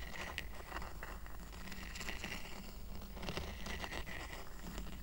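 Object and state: Woven rattan coaster.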